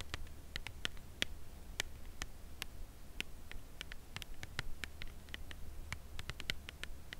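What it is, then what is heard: Cardboard chocolate bar box. Long nails tap the front face of a full cardboard chocolate bar box held upright in the hands. The result is a steady stream of quick, dry, bright clicks with almost no ring, over a faint low hum.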